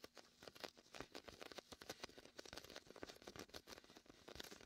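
Fingertips press, peel and scratch the tacky vinyl of a large red and white inflatable PVC beach ball, hollow and filled with air. A quick, uneven run of short, crackly sticking and peeling sounds, with a bright rasp, follows one after another. Each ends almost instantly with no ring.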